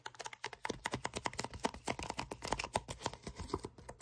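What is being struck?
Kraft paper envelope.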